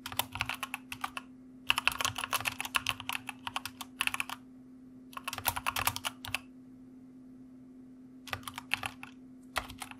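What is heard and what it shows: A white plastic mechanical computer keyboard is typed on continuously with the fingertips of both hands. Bursts of sharp, bright clicks and clacks come in quick runs, separated by pauses of near silence. A steady low hum runs underneath throughout.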